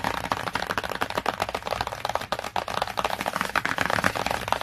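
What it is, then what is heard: Glossy cardboard hardcover book. Long nails tap rapidly across the glossy cover of a cardboard hardcover book, including near its edge. The result is a dense run of short, dry, clicky taps centered in the mids around 930 Hz, with little low end.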